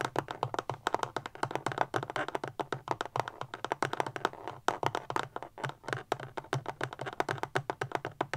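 Long fingernails tap fast on a small, solid, rectangular black powerbank with a plastic casing, standing upright and turned to show its side by the end. The result is a rapid, steady run of short, dry, clicky taps with a mid-pitched plastic tone and almost no ring, over a faint low hum.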